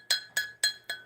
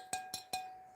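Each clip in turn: First: glaze-fired stoneware, fully vitrified with a hard ring. Second: bisque-fired pottery, porous and fragile.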